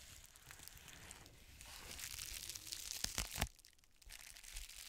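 An iridescent plastic bubble mailer, held close, is squeezed and scratched with the long nails of both hands. The result is a steady bright crinkling and scratching that builds toward a few sharp crackles. It then drops to a quieter rustle before picking up again at the end.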